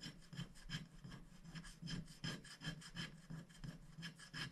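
A wooden stick scratches the black coating off a thin, flat scratch-art sticker sheet lying on a glass board while a hand holds the sheet steady. Quick, uneven scraping strokes repeat about three times a second, each a dry, rasping scratch with a low buzzy body and bright, hissy streaks that stop almost at once.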